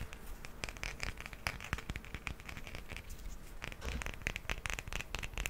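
A small solid grey plastic hippo figurine is held in the hand and tapped and scratched with nails. Quick, dry clicking taps mix with crackly scratching, with each tap dying away almost at once.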